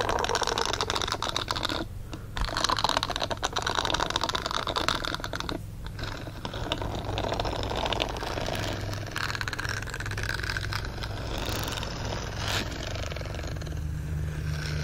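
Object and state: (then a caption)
Silicone dish glove scratched. Fingernails scratch across the bristle nubs of a green silicone dish-scrubbing glove lying flat. The result is a dense, rapid, crackly scratching that runs almost continuously with only brief dips, over a steady low hum.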